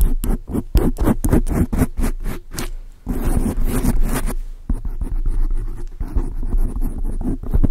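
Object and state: Foam microphone windscreen being scratched.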